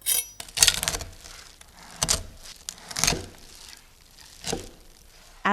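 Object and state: Crispy pork belly crackling.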